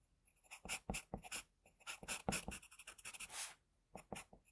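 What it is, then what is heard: Pencil scratching on drawing paper. A pencil tip scratches whisker and hair lines onto a flat sheet of drawing paper. The quiet, bright, dry strokes come in short irregular bursts with brief pauses between them, and they stop quickly without any ring.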